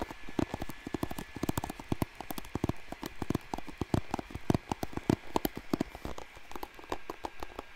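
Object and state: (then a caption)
Plastic hairbrush bristles being strummed. A blue plastic paddle hairbrush is held up close to a microphone while fingertips and nails strum and scratch its bristles. A rapid, uneven run of short, dry clicks and taps with a soft low thump and a faint bright crackle follows, each snapping off almost instantly.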